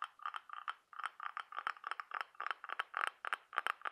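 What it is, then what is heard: Cockle seashell, tapped and scratched. Several fingernails scratch and tap across the ribbed surface of a brown-patterned, orange-brown cockle half-shell held up close. The result is quick bursts of dry, bright clicking and scraping centered in the midrange, with no low end and almost no ring after each tap.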